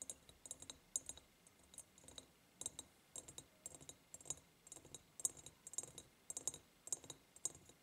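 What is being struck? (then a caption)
Ribbed glass jar tapped with fingernails. Long painted nails tap on the sides of a large, empty, hollow ribbed glass jar. Quick, bright, clicky taps come in short clusters with brief pauses between them. Each tap dies away almost at once, with only a faint high glassy tick.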